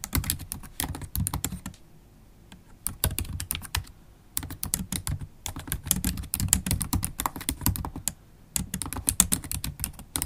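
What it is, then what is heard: Laptop keyboard with plastic keys in an aluminium body. Long black holographic acrylic nails type steadily on a MacBook Pro keyboard, its black plastic keycaps set in a silver aluminium body, tapping with nail tips and fingertips. Quick, dry clicks and clacks come in dense bursts, each with a soft low thud and a bright tick that dies away at once. Two brief pauses break the otherwise continuous typing.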